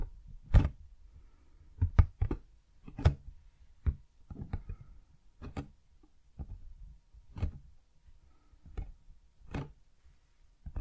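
Fingertips and nails tap and scratch the sides of a large, hollow, printed cardboard retail box, the Blue Yeti X microphone's own packaging, held in the hands and turned sideways. A slow, irregular series of soft, dry knocks sounds mostly low and hollow, each dying away almost instantly with no ring. Faint scratching fills the quiet gaps between the taps.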